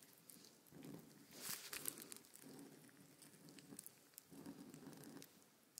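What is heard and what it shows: A white paint marker tip is scratched and drawn across a large sheet of thin, crinkly paper with a printed blueprint, lying flat on a table while one hand holds the sheet. Quiet, raspy drawing strokes come in several sustained passes, with a brighter crinkle and crackle of the paper partway through. The sound stays soft and close throughout.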